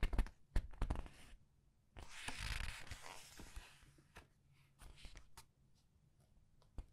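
Long red nails press and turn the paper pages of a large art book, giving sharp taps and clicks. A broad, bright papery rustle swells as a page sweeps over, then fades into soft scattered ticks and scratches.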